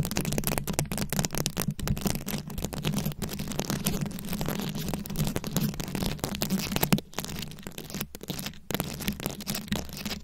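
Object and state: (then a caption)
Rhinestone-covered microphone being scratched. A fist-sized microphone head fully covered in small round rhinestones, likely plastic, is held close and scratched and tapped with very long acrylic nails. The result is a dense, continuous stream of crackly, crinkling scratches and quick taps over a steady low hum near 200 Hz, with a few brief dips in the texture.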